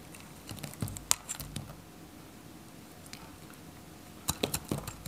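A solid, dry white bar of soap held in the fingers has pieces cut off with a metal craft knife. Short, crisp, bright scraping snaps come in a cluster, then a quiet pause, then another quick burst of sharp cuts near the end. Each cut is dry and clipped, with almost no ring.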